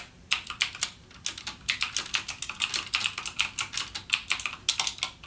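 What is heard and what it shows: Fingertips type continuously on a backlit mechanical gaming keyboard with plastic keycaps and clicky Cherry MX Blue switches. A rapid, uneven stream of sharp, bright clicks, each dying away almost instantly, has almost no low end and only brief quiet gaps between bursts.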